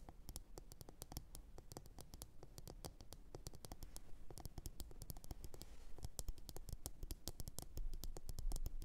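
Long orange nails on both hands tap and scratch a glossy blue ceramic bowl that sits upside down, hollow and empty. The result is a dense, irregular stream of quick, sharp clicks with short bright ticks over a low, hollow thump. The clicks fade almost at once, and the tapping grows slightly louder toward the end.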